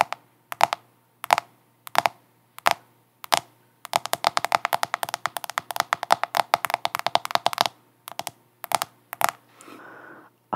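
Long acrylic nails tap and scratch the back and sides of a large black smartphone in a black plastic case, held upright in both hands close to the microphone. Sharp, dry clicks come at first in slow, spaced taps, then speed into a dense, rapid flurry of bright ticks before slowing again. The clip ends with a soft, hissing scratch across the case.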